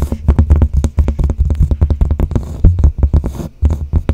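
Both hands scratch and tap the cork surface of a large, flat cork bulletin board with a light wooden frame, held in front of the microphone, using long blue-painted nails. A rapid, uneven run of soft, dull, low thuds follows, with quick decays and a faint scratchy texture between the taps.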